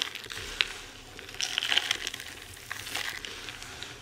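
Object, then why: Pile of crumbled bar soap chunks and shavings. Bare hands with long red nails gather a pile of dry crumbled bar soap chunks and shavings in white, green and pink, crush it between the palms and let the pieces fall. The result is a bright, dry crunching and crinkling texture with scattered sharp crackles and small snaps, with almost no low end.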